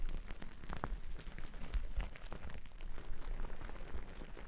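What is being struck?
Cotton terry towel.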